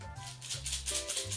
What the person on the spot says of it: the beads make a completely different sound than the rice